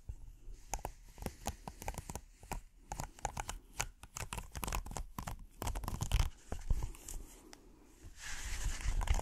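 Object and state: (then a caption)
Silicone trivet. A flexible red silicone hexagonal trivet mat with a dotted texture is bent and held in the hands while fingernails scratch across its textured surface. Quick dry scratches and crinkly ticks come in an irregular stream, some short and bright, over a low rumbling bed. Near the end the sound grows into a louder continuous rasping scrape.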